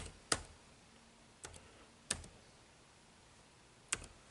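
Fingertips press and tap the keys of a dark plastic chiclet keyboard on a silver HP laptop with a grey plastic/metal-look deck, lying flat on a table, in a typing motion. Sparse, irregular, quiet clicks with bright, crisp attacks and very short decay are heard, some with a faint second click right after.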